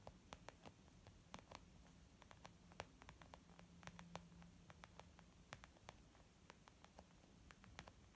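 Long painted nails and fingertips of both hands tap on a flat, hollow white textured leather zip makeup bag. Quick, sharp clicks land in an irregular rhythm over a soft, muffled low thud and faint steady hiss. Each tap stops almost at once with no ring.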